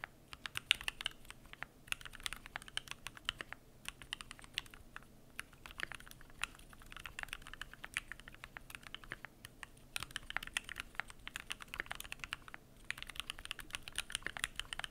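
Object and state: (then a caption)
Aluminum mechanical keyboard with PBT keycaps. Continuous typing with both hands' fingertips on a Keychron Q1 mechanical keyboard with an aluminum case, PBT plastic keycaps and lubed switches. Rapid, dense streams of short, bright, dry clicks and clacks fire in quick succession, with little low-end body. There are brief pauses between bursts.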